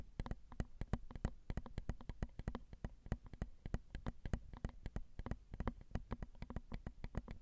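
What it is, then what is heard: Fingernail taps on metal recorder microphone capsules. Long almond-shaped acrylic nails tap rapidly and steadily on the tops of a Zoom recorder's small, hollow metal X/Y microphone capsules. Each tap is a short, dry click that dies away almost instantly. The captured sound is dominated by a low, thumpy body with faint bright edges on the sharper strikes.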